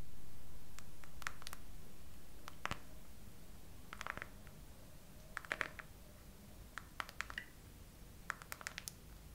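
Long acrylic nails slowly tap and scratch the raised hollow heart bubbles on a soft clear silicone/TPU phone case, with the phone mounted on a tripod. Short, sharp clicks come in small clusters every second or so over a faint low background hum. Each tap dies away almost instantly.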